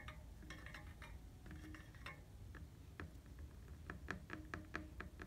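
Fingertips and nails tap on the red painted hollow steel tubes of a bicycle frame. The quiet, quick, irregular taps each give a short bright metallic ping that dies away almost at once over a low background rumble.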